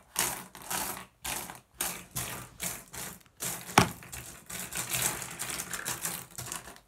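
Fingertips rake and shuffle a pile of small, solid, blue iridescent flat glass gems on a wooden surface. The result is a series of bright, dense clattering and clicking bursts separated by brief pauses, with one sharper click standing out midway. The later bursts run together into a steadier rattle.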